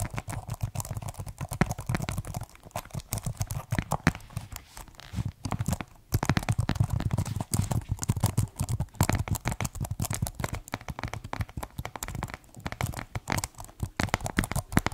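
A slim, hollow white plastic computer keyboard is held upright while fingertips tap its keys and rub along its frame. The result is a dense, continuous stream of quick, dry clicks and scratchy rubbing over a low, hollow thumping body, with no ring after each tap.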